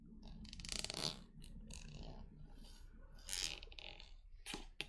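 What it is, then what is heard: Plastic liquid soap pump bottle. Long nails tap and scratch the body of a translucent plastic pump bottle that appears partly full of liquid soap. Quiet, bright scratching swells in bursts, with soft taps and a low rumble underneath, and ends in a couple of sharper clicks.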